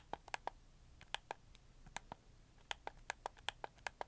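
A red camo plastic PS4 controller is held in both hands while thumbs press its face buttons and joysticks. Seventeen short, crisp plastic clicks come at an irregular pace over a quiet background, each with a midrange body around 800 Hz and a bright tick that stops almost instantly.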